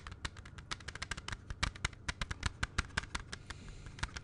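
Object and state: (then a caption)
Plastic CD jewel case. A closed clear plastic CD jewel case, held in both hands, is tapped quickly with the fingertips. The result is a rapid, uneven run of short, dry, bright clicks that die out almost instantly, over a faint low background hum.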